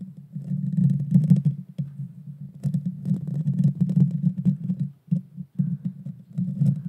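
Long painted fingernails scratch the bare metal mesh grille on the hollow head of a small Blue Yeti Nano USB microphone. The result is a dense, rapid scraping that comes through mostly as a deep, boomy rumble with faint bright ticks. The scratching runs almost continuously, with brief pauses near the five-second mark.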